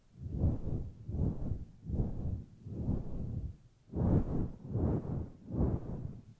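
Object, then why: Synthetic fur microphone windscreen. Long nails grip, scratch and rub the sides of a grey, fluffy faux fur microphone windscreen. Seven soft, muffled rubbing swells follow one another, deep and whooshing, with almost nothing bright on top.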